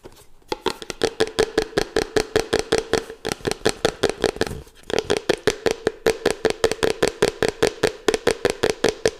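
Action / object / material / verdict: tap / cardboard box / cardboard / none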